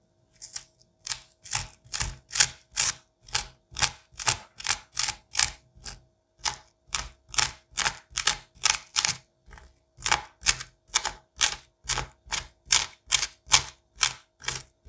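A gloved hand scrapes the seeds and fibers from the cavity of a pumpkin with a curette. About 38 short, bright, slippery scraping strokes repeat in a steady rhythm, with a faint low hum underneath.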